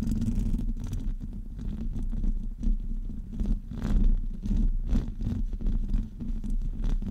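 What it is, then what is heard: Metal mesh microphone grille being scratched. Fingertips and nails of both hands scratch across the top of a hollow metal wire-mesh microphone grille. The result is a continuous, boomy, low rumbling scrape with a steady hum-like low tone underneath and short, brighter scratchy bursts that rise and fall in loudness throughout.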